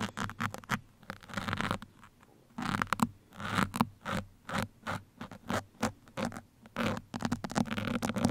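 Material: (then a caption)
Foam. Steel pins are drawn and scratched into the foam sides of a black foam microphone windscreen with both hands. The result is a string of short, dry scratching and rasping bursts, some quick and some drawn out, with brief quiet gaps and a steady low hum underneath.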